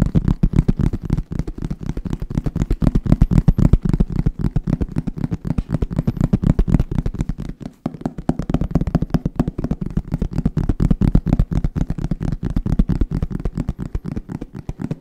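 Fingertips rapidly tap on a hollow, roughly hand-sized black hard-shell zip case covered in fabric. The result is a fast, somewhat uneven stream of dull, muffled low thuds with almost no ring and no bright edge, broken by a brief pause about halfway through.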